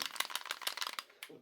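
A steel Sig P225 pistol is shaken to compare it with an HK P7, and its loose-fitting slide rattles loudly. A rapid run of bright, sharp metallic clicks fades out with a final clack. The fit is poor.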